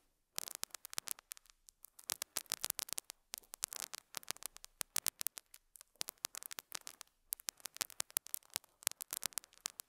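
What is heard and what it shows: A metal dental scaler hook scratches and picks at a small square beige felt pad resting on a lapel mic. Quiet, dense bursts of bright, dry crackling scrapes and sharp ticks come in uneven clusters with brief pauses, with almost no low end.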